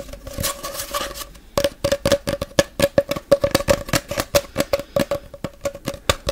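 A long, hollow brown cardboard tube is held in both hands and rubbed with the fingertips, giving a soft scratchy hiss for the first second and a half. Then it is tapped in a quick, uneven run of short, dry knocks. Each knock carries a hollow tone near 560 Hz that dies away almost instantly.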